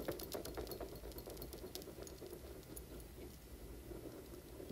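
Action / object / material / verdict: scrape / spiky silicone puffer toy / silicone / none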